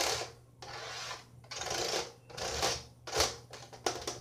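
Fingertips and nails tap on the hollow plastic shell of a closed, dark blue laptop held upright, first on the lid and then on the ribbed underside with its vent grille after the laptop is turned over. Bright, dry, scratchy bursts of tapping rise and fall in clusters over a faint low hum, each tap dying away almost instantly.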